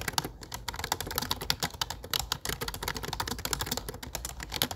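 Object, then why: Plastic computer keyboard. Fingertips tap rapidly on a low-profile plastic computer keyboard with dark plastic keycaps while typing. The result is a dense, steady stream of short, bright clicks that stop almost instantly, with a light low thump under them.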